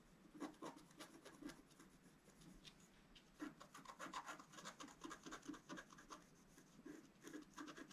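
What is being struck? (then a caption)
Scratch-art card, coated paper board scratched with a wooden stylus. A wooden stylus scratches fine strokes into a flat scratch-art card, black coating over a colored foil layer, held flat on a table. Dry, raspy scrapes come in quick bursts, with a bright hiss over a low body around 300 Hz. A quieter stretch in the middle gives way to another run of rapid strokes.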